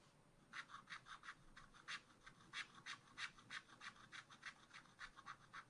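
A wooden stylus scratches small hearts into the right edge of a black-coated scratch art card held in a spiral pad. About seventeen short, dry, bright scratching strokes come in a quick, uneven rhythm, each fading almost at once over a faint steady hiss.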